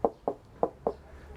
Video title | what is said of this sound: [TV조선 LIVE] 7월 7일 (일) 뉴스7 - 아베, 무역보복-北 제재 연결 | 스티로폼 등 불에 타기 쉬운 소재로 마감되어 텅 빈 소리가 납니다